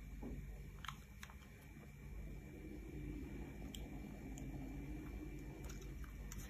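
A metal knife blade scrapes and shaves thin slices off the surface of a solid, rounded, hand-sized bar of pink soap held in the hand, above a pile of shavings. A soft, steady scraping texture with a low, muffled body is dotted with brief, bright, crisp ticks as the blade cuts.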